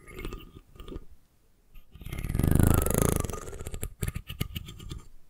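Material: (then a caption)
Wood. Long nails tap the curved spine and scratch the fine teeth of a solid wooden comb held horizontally above the mic. Soft, dull taps give way to a rising, rasping scratch that swells and fades in the middle. A quick, uneven run of sharp clicky taps follows, with a deep low thump beneath each touch.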